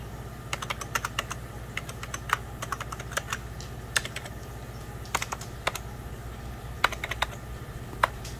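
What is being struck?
Plastic computer keyboard.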